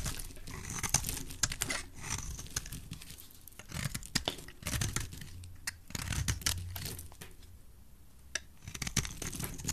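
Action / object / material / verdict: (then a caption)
scrape / bar of soap carved with a blade / soap / none. A utility knife blade scrapes and carves flakes from a solid, dry, translucent red bar of soap held in a hand with black-painted nails. Crisp, bright scraping and crunchy, tearing crackles come in quick bursts over a low, soft rumble, with short quieter pauses between strokes.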